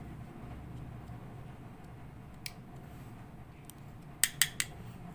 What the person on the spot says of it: si c'est en fer , ça sonne comme du métal